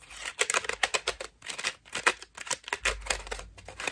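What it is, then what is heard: Foam bath loofah. A fist-sized cream foam bath loofah with ruffled petals and a white rope loop is held in both hands while long nails scratch and tap its foam petals. The result is a rapid, uneven run of dry, crinkly scratches and soft taps, bright and hissy with almost no low end. Each burst cuts off quickly with short pauses between flurries.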